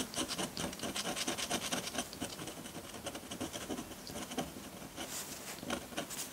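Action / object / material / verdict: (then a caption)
scrape / metal dip pen nib on paper sheet / paper / none. A metal dip pen nib scratches ink lines onto a flat sheet of white drawing paper. The result is a quiet, steady run of short, bright, dry scratching strokes in an uneven rhythm, with almost no low end.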